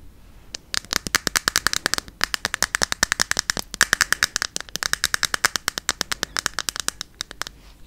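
Long yellow fingernails tap rapidly on a small, hollow white plastic skincare bottle held in the hand, producing about sixty sharp, dry clicks in quick, uneven bursts with a few brief pauses. Each tap is bright and hollow, with a resonant tone near 1.7 kHz, and dies away almost instantly.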